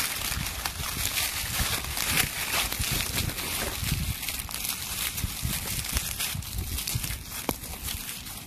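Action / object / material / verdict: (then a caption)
scrape / handful of leaves / leaves / none. A handful of dry brown leaves is crushed and crumpled between the fingers, giving a steady, dense crackling and rustling with bright, brittle snaps over a soft low rumble throughout.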